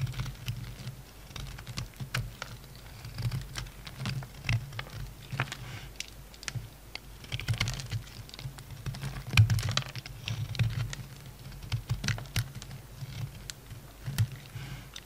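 A metal utility knife blade carves shavings off a solid yellow bar of soap held in the hand. Dozens of short, crisp clicking scrapes and cuts come in quick, uneven bursts over a steady low hum, each stroke dying away almost at once.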